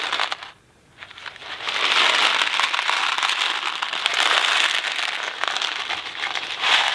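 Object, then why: Cardboard box of dry pasta. A Kraft macaroni & cheese cardboard box full of dry pasta is held in the fingers and shaken, producing a dense, bright rattling crackle centered around 3 kHz with almost no low end. After a brief quiet pause near the start, the shaking continues steadily for the rest of the clip.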